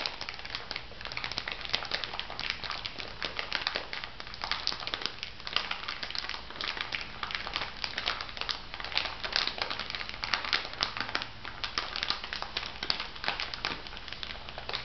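A small clear plastic bag full of white bath salt granules is squeezed and scrunched by fingertips with long nails. It gives a steady stream of bright crinkling and gritty crunching, with many short, sharp crackles and a faint low hum underneath.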